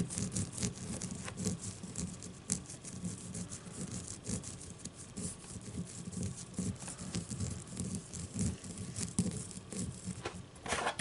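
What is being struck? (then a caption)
Leather-covered baseball. Long nails scratch the leather cover of a solid leather baseball held on a table. The result is a continuous, quiet rasp of dry, crackly scratching with bright, brushy bursts over a soft, low rumbling body.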